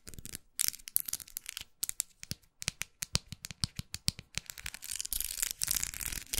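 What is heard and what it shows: Long acrylic nails tap and scratch along the ridges of a spiral-twisted white plastic unicorn makeup brush handle with a metal ferrule, held in one hand. A rapid series of dry, bright clicks stops instantly with no ring. The clip ends in a denser, hissy scratching rasp.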